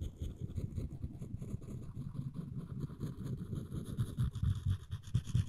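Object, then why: Wooden spoon scraped with a floss string. A floss pick's string is scraped along the handle edge of a solid wooden spoon held in both hands. The result is a dense, irregular, low rasping scratch with quick, dry strokes and little ring, steady in level with a few louder swipes near the end.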